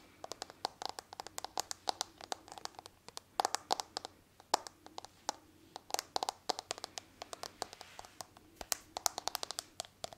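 A smartphone in a hard plastic case with a marble-like pattern is held in one hand while fingernails tap and scratch the back of the case. A steady run of quick, dry clicks and short scratches comes through, each with a bright crackly edge and no ring, over a quiet background.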